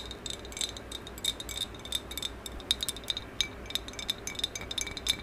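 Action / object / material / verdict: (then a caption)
tap / glazed ceramic vase / glazed ceramic / none. Long acrylic nails tap quickly along the top of a medium maroon, glossy, hollow ceramic vase with a black band, held horizontally. The result is a rapid, irregular run of short, bright clicks and clinks that ring briefly around 3.6 kHz over a faint low hum.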